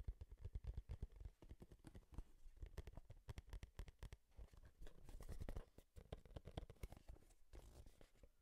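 Long nails tap rapidly on a small, hollow, printed cardboard Game Boy product box held near the microphone. The result is quiet, dull, low, hollow taps in quick, uneven bursts, with faint scratchy rustles between them and almost no ring after each tap.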